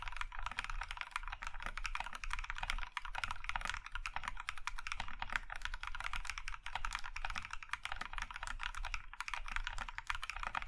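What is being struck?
Mechanical keyboard with plastic keycaps.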